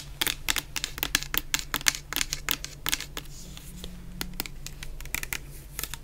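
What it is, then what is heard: Plastic shower gel bottle. Long nails tap and scratch a medium clear plastic bottle full of orange shower gel. Quick, sharp, bright clicks come in irregular bursts with very short decay, and a softer scratchy stretch falls in the middle. A faint low steady hum runs underneath throughout.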